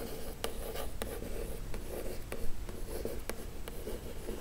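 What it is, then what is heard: Printed cardboard box, scratched. Long acrylic nails scratch and trace over the glossy printed surface of a hollow Glowria printed cardboard subscription box with an illustrated lid, lying flat. The result is a soft, dry scratching with brief sharp clicks scattered throughout.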